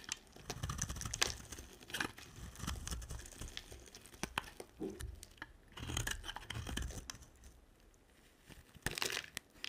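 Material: Soap.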